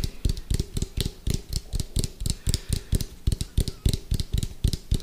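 Fingertips and nails tap rapidly on the side and lid rim of an orange, hollow, round plastic food container with a white lid, held sideways close to the microphone. About two dozen quick, uneven taps each give a deep, hollow thump with a bright clicky tick on top, dying away almost at once.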